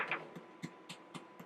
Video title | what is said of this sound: Vintage-2020- French Brioche Dough & Bread - RV KITCHEN | you hear that sound that's the hollow sound and that's another way that you know that this brioche is done